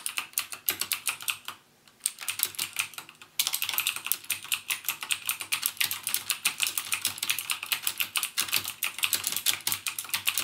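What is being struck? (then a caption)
Plastic mechanical keyboard with clicky switches. Fingertips type continuously on a backlit plastic mechanical gaming keyboard with plastic keycaps and Cherry MX Blue switches. The keys give a rapid stream of sharp, bright, clicky strikes with very short decay, broken by a brief pause near the two-second mark before the fast typing resumes.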